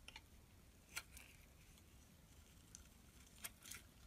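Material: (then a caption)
Soap. A utility knife blade shaves and scrapes crumbly flakes off a small solid bar of black-and-white striped soap held in the hand, building a pile of shavings. Eight short, bright, crisp scrapes and ticks stand apart over a quiet low rumble, each dying away almost instantly.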